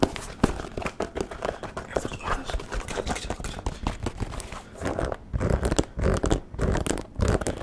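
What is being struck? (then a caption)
Leather sneaker with rubber sole. Fingertips and nails tap and scratch the rubber sole and the side of the leather upper of a single hollow, empty white low-top sneaker held in one hand close to the mic. The sound is a dense, irregular run of soft dull taps and scratchy rasps, mostly low and thumpy with little brightness. It grows fuller and louder toward the end.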